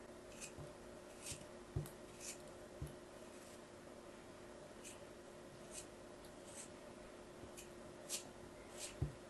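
A metal craft blade slices and scrapes through a small solid block of purple and yellow kinetic sand held in the hand, gripped by fingers with long yellow nails. Quiet, soft gritty strokes bring short bright hissing scrapes, some with dull low thumps, over a faint steady low hum.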